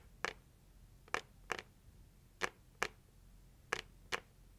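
Long acrylic nails slowly tap the lid of a closed, hollow, red printed heart-shaped cardboard gift box. Seven short, dry, bright clicks sound with almost no ring, mostly in loose pairs, over a quiet background.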